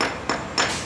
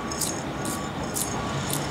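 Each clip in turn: First: sound concrete floor. Second: loose, spalling concrete.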